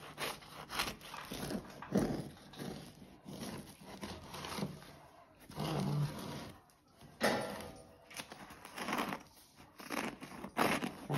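A whole large pandoro, a solid star-shaped sweet bread with a dry floured crust, rests on a cutting board and is sawed and scraped with a serrated bread knife held in one hand. Repeated rough crust-cutting strokes and scratchy rasps rise and fall in uneven bursts, with brief quieter gaps between them.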